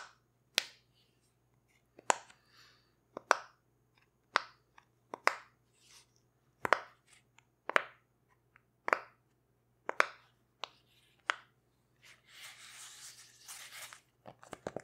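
A rainbow heart-shaped silicone pop-it fidget toy has its bubbles pressed with fingertips and long red nails, making a series of sharp, bright snapping pops with quick, short decays. Near the end, a soft, hissy rustle is heard before a few final pops.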